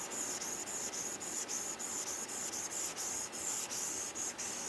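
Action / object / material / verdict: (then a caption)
scrape / stylus on glass tablet screen with matte plastic film / plastic film / none. A plastic stylus tip with a textured grip scratches and rubs across a matte plastic screen protector film over an iPad's flat glass screen while shading. It makes a steady, bright, hissy scratching with almost no low end, broken by brief dips where each back-and-forth stroke turns.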